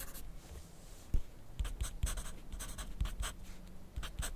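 A wooden graphite pencil is drawn across a thin grid paper sheet clipped to a flat clipboard on a desk while writing. Short, bright scratching strokes come in quick bursts over a quiet background, with soft low thumps as the pencil meets the board.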